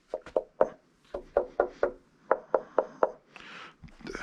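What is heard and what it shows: Knuckle knocks on the cabinet of a Klipsch RF7 III floorstanding speaker give about eleven short, dull thuds in an uneven rhythm, each with a midrange knock and almost no ring. The cabinet sounds solid and well braced, unlike the hollow-box sound of the lighter 590s, because the RF7 III is heavier and better built.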